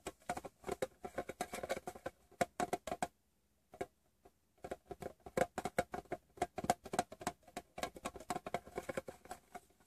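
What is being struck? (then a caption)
Small metal chewing gum tin. Fingertips and short painted nails tap the closed lid of a small, hollow, rectangular green Wrigley's Doublemint metal tin resting on fabric. Quick bursts of light, clicky taps with a short hollow ring around 700 Hz run throughout, broken by a brief near-silent pause around the three-to-four-second mark before the tapping resumes.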